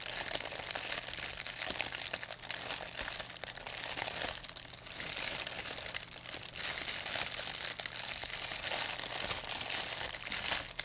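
A thin, empty white plastic pharmacy bag is squeezed and crinkled in both hands with long painted nails. It makes a dense, continuous, bright crinkling and crackling for about eleven seconds, with a faint low hum underneath.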